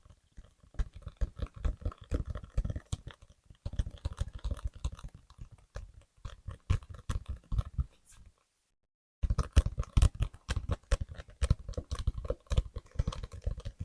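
Fingers tap rapidly on the paperback novel "Days at the Morisaki Bookshop," producing a dense stream of short, dull, low thuds with a faint bright tick on each. The tapping pauses briefly near the middle, then resumes slightly louder until the end.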